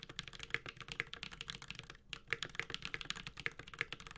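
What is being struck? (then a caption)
Mechanical keyboard with metal case and plastic keycaps. Steady typing with the fingertips of both hands on a Space65 Cybervoyager, a 65% mechanical keyboard with a white-gold aluminum case, carbon fiber plate, Holy Panda tactile switches and plastic keycaps. A rapid run of short, bright, clacky keystrokes dies away almost instantly, with a brief pause near the middle before the typing resumes.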